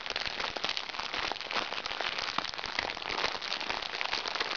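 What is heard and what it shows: Hands crumple a small, crinkly recycled plastic makeup bag while nails scratch across the plastic. The result is a steady, dense, bright crackling with quick sharp snaps and almost no low end throughout.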